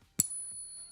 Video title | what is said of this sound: Silver Pushing Back to $75 – The Fight Is On Right Now! Market Chaos Live!🔥📊 | This is what silver should sound like. You hear that? That's the sound of real silver.